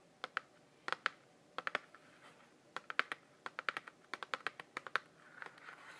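Fingernails tap and scratch the surface of a Barenaked Ladies DVD in a thin glossy cardboard sleeve held in both hands, giving about 25 rapid, sharp, click-like taps in irregular bursts. Soft brushing scratches fill some gaps, especially near the end. The clicks are dry and bright, centered in the upper mids, with no low end and almost no ring.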